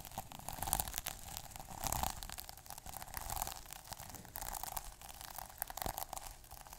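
Fingertips scratch and rub the plastic sequins on a small sequin notebook cover. The result is a dense, crackly rustling with quick scratchy bursts, a steady midrange tone near 790 Hz, and bright hiss, swelling and easing in uneven waves.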